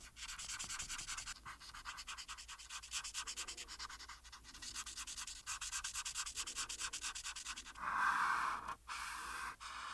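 A marker tip is rubbed in quick back-and-forth strokes over a thin printed paper coloring page resting flat on a solid board, coloring in a pink dress. The strokes make a fast, steady, bright scratchy rasp, swelling to a louder continuous scrub near the end before a few final short strokes.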